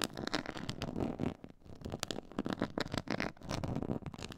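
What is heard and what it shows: Long nails and fingertips scratch across a black pyramid-textured faux leather board, making dense, crackly scraping with quick bright ticks over a low rustle. The scratching runs in bursts, easing briefly near the middle before picking back up.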